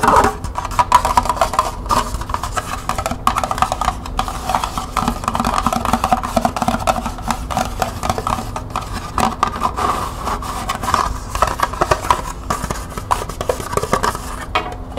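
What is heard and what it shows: A small, hollow, empty green plastic cup held in the hands is tapped rapidly on its sides and rim with long painted nails. The result is a steady, dense stream of light, hollow clicks with a midrange tone that stops almost instantly after each tap.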